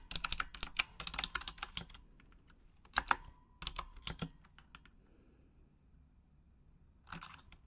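Long acrylic nails tap the plastic keycaps of a full-size pink Razer Huntsman mechanical gaming keyboard with RGB backlighting in a typing motion. Rapid bursts of sharp, bright clicks come in quick runs separated by pauses, with sparser taps, a long quiet gap, and a short final flurry.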